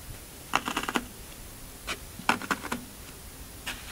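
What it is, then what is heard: Floral foam block pressed, crunchy. Fingertips press and poke dimples into the top of a large, solid rectangular block of green Oasis floral foam resting on a black table. Nine short, dry, crunchy crackles come in irregular bursts, each a quick bright crunch that stops almost at once, with quiet gaps between them.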